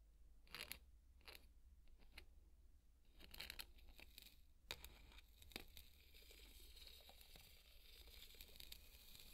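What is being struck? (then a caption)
Polystyrene foam ball scraped with a plastic spoon. A small white plastic spoon scrapes and taps a large white solid styrofoam (polystyrene foam) ball. Short bright squeaky scratches and light taps come in bursts over the first five seconds, then give way to steadier, hissy scraping with a low hum underneath.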